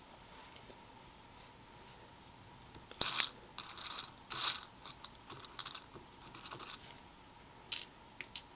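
Black tweezers dig and stir through small hollow white and red plastic perler beads partly filling a red plastic bowl. Bright, clicky rattles come in short irregular bursts, loudest around the three-second mark, over a faint steady hum.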